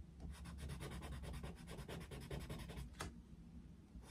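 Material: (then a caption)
Paper. A yellow wooden coloured pencil shades densely across the paper of an open colouring book resting on a desk. Quick, steady back-and-forth rubbing and scratching strokes repeat over a low background rumble. One sharper, brighter scratch stands out near the end.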